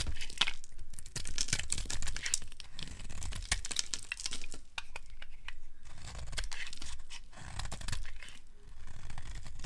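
A black-handled metal blade scrapes and shaves flakes off the edge of a solid, hand-sized, bright yellow rectangular bar of dry soap held in a hand with long pink nails, the shavings piling up on a grey wooden surface. Dry, crinkly scraping and tearing strokes come in steady rasping bursts over a low, dull rumble, with quick crisp flicks and no ring after each stroke.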